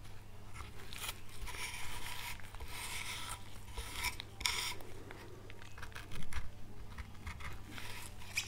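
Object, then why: Small pale wood board. A gouge cuts and scrapes an oak leaf relief into a small, solid, pale wood carving board held in gloved hands. Repeated short, crisp scraping and crunching strokes with bright edges sit over a steady low hum, with a louder cut near the end.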